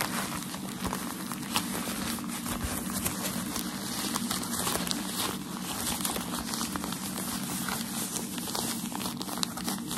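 Crumpled white tissue packaging paper is held in both hands while the fingers stretch, crinkle and rub it. A dense, continuous crinkling and crackling runs the whole time at a fairly steady level, bright and papery with scattered sharper snaps.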